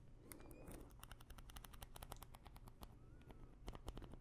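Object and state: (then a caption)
Plastic pill bottle. A small clear plastic pill bottle full of pills, with a paper label, is scratched and tapped with long nails. It makes a steady run of quick, crisp clicks and light scratching that are bright and short, over a quiet low rumble.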